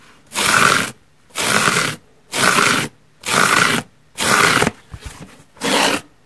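Long nails scratch the top and edge of a large, soft, holey yellow foam car sponge, giving six steady bursts of broad, bright, raspy scraping with a hollow tone near 1.4 kHz. A few fainter scratches fall between the fifth and sixth strokes, and each burst stops abruptly into near silence.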